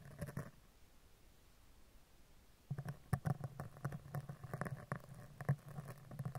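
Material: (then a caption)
Metal. A dark spoolie brush is scratched down the right side, then the left side, of a hollow woven metal microphone mesh grille. A short scratchy burst is followed by a quiet pause, then dense, dull, low-heavy scraping ticks continue to the end.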